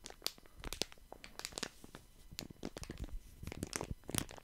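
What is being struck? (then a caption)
Plastic wet wipes packet. A small, flat plastic wet wipes packet printed with lemons is held in both hands while fingertips squeeze and crinkle it close to the mic. Dense, irregular crackles and crisp rustles snap out in quick bursts, with bright, sharp peaks over a soft low rumble.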